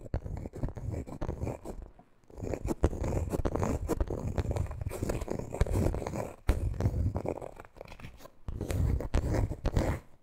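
Long green nails tap and scratch the coated canvas front of a handbag held upright. Dense, rasping scratches and soft taps come in bursts, mostly low and muffled, separated by brief quiet pauses.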